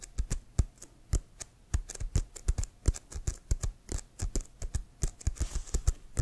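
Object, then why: Inflated leather American football. Fingernails tap rapidly on an inflated, hollow leather American football held upright. About thirty short, dry taps come in an uneven flurry, each a low hollow thump with a bright click on top that dies away almost at once.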